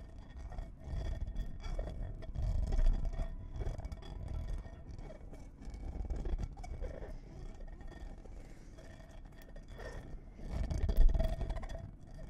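A clear stemmed wine glass with a little water inside is held in the hands and tapped and scraped with long nails. Soft, irregular taps and scrapes sit over a low, rumbling handling noise, with faint sustained ringing tones from the glass. The sound swells in a few louder bursts, the strongest near the end.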